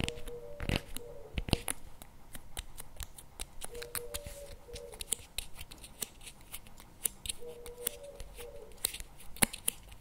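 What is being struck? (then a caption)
Paperboard tub with plastic lid. A CremaNovi paperboard chocolate spread tub with a plastic lid is held tilted in both hands while fingernails tap and scratch the lid. Quick, sharp, bright clicks come in a steady irregular stream over soft scratchy rustling. A faint low-mid tone drifts in and out three times, and the whole clip stays quiet.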